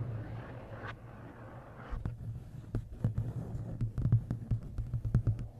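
About a dozen short, crisp ticks come in uneven clusters, each dying away almost at once with no ring. That dry click fits nails on a stiff glossy paperback cover. A constant low hum runs underneath throughout.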